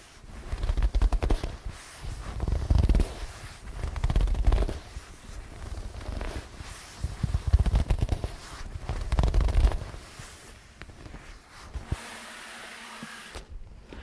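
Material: Leather.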